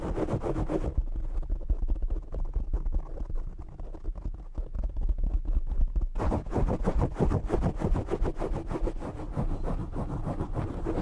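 Fingertips and short nails scratch and tap a black foam windscreen on a desk microphone, making dense, fast, muffled scratching with deep thumping rumble. The rubbing turns duller and softer after the first second, then grows brighter and rougher again from about six seconds to the end.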